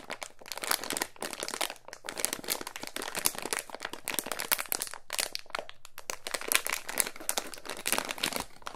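A small clear plastic resealable bag holding a coiled white charging cable is held in both hands and squeezed and rubbed with the fingertips. It gives steady, bright crinkling with dense sharp crackles and brief pauses throughout.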